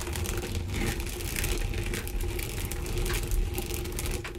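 Long dark green almond-shaped nails and fingertips scratch and rub across a flat, mitten-shaped textured sponge and fabric contouring body-wash glove lying on a bamboo wooden surface. The result is a steady, soft scratchy rustling with crinkly bright scraping strokes over a low, muffled rumble.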